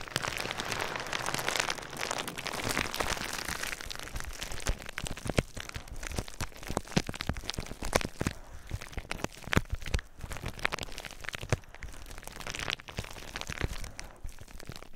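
Clear plastic bubble wrap is held over the microphone while fingers pop and crunch the bubbles. Quick, sharp pops crackle over a steady, dense crinkling of plastic, with a low thump beneath each press.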